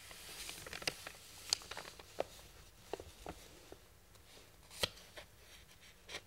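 Fingertips and palms rub and slide over a large, thin printed paper plan sheet lying flat on a wooden workbench. The result is a quiet, bright rustle broken by several sharp, crisp ticks and scrapes as the hands move across the paper.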